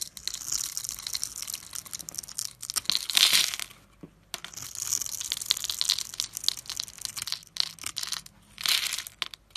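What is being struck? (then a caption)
Soap bar scraped with a metal blade. A metal blade carves and scrapes small cubes off a solid yellow soap bar that has embossed lettering and is pre-scored in a grid, held in hand, with the cubes piling up. Dense, bright crackling and crumbling scrapes come in several bursts, separated by brief quiet gaps, with almost no low end.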